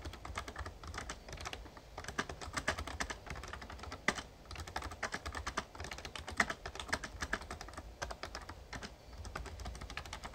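Fast fingertip typing on a full-size backlit plastic Razer Ornata Chroma mecha-membrane gaming keyboard. The result is a dense, steady stream of short, soft clicks and clacks with a low hum underneath, plus a few louder key strikes standing out.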